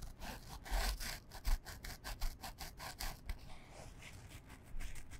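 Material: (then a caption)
Canvas. Long fingernails scratch a small, flat, printed canvas fabric pouch that is soft and hollow and held in both hands. A quick series of dry, raspy scratching strokes follows, each a short, bright, hissy burst over a low rumble, with a slight pause partway through before the strokes pick up again.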